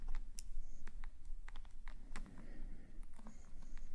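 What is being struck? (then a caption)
Metal calligraphy nib on paper sketchbook page. A metal calligraphy nib scratches small ink strokes across the page of an open black paper sketchbook. Short, dry scratching ticks with bright edges come in a quick, uneven series over a low, steady hum.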